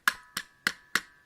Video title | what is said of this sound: Sentai Robo Review #2 : Gattai Shift Turbo Robo 合体シフト！ターボロボ（ふら語） | On entend le ressort dedans quand on tape.